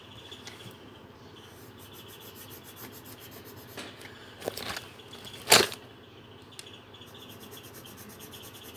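A coloured pencil tip rubs and scratches across a thin paper page of a colouring book lying flat on a table while shading. A quiet, bright, scratchy hiss runs throughout, broken by a few louder, brief scrapes in the middle, the strongest about halfway through, before it settles back to soft shading.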